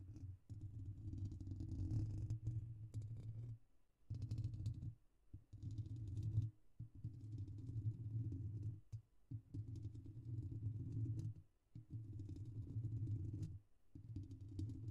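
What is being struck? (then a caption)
Metal mesh microphone grille. Fingertips and short nails of both hands tap rapidly on the hollow metal mesh head of a silver Blue Yeti microphone. The result is a dense, muffled drumming, deep and boomy around 100 Hz. It comes in bursts of a second or two separated by brief silent pauses.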